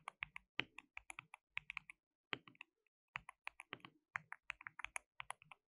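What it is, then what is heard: Plastic mechanical keyboard being typed on. Both hands type with their fingertips on a compact white plastic mechanical keyboard with pale keycaps and a hollow case, resting on a dark desk mat. The result is a quick, uneven run of bright, dry, clacky key taps that stop short with no ring, broken by a brief pause near the middle.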